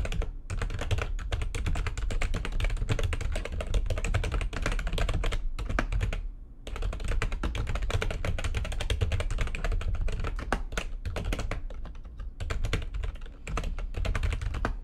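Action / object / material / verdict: tap / plastic computer keyboard / plastic / none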